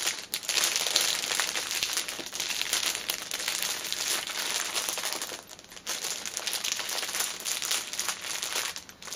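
Long nails on both hands tap and scratch the thin clear plastic cellophane sleeve wrapped around a flat, soft fitness band package. The result is a continuous, bright, crisp crinkling with quick ticking taps, dipping briefly quieter near the six-second mark before resuming.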